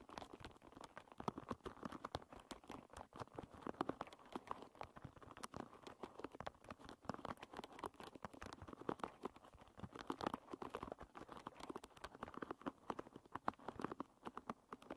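Long red nails scratch and flick the tips of a hairbrush's wooden pins, which face upward. Rapid, dense clicking and ticking runs steadily throughout, with short, bright taps.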